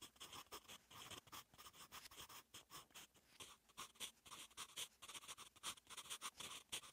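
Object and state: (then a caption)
Graphite pencil writing on paper. A wooden 8B graphite pencil, held in the fingers, writes Korean handwriting on a lined, lightly textured paper notebook page lying flat. It makes a steady run of soft, dry, scratchy strokes, bright and hissy with a focus near 3.4 kHz, coming in quick bursts with brief pauses between words.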